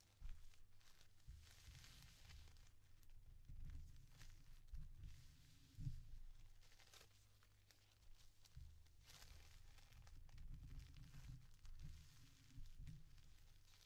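A stack of thin yellow tissue paper sheets is folded into pleats, lifted and flapped in the air, then pressed flat with fingertips and nails. Soft, continuous crinkling and rustling comes through, with bright paper texture over a dull low rumble. Occasional sharper crackles stand out along the way.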